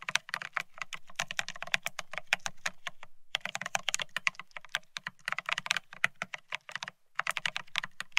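Both hands type rapidly on a Bear65 mechanical keyboard fitted with blank white matte ceramic Cerakey keycaps on a steel plate, resting on white cloth. Dense bursts of sharp, bright clicking keystrokes with a low thock underneath come in quick runs, broken by short pauses near 3 and 7 seconds.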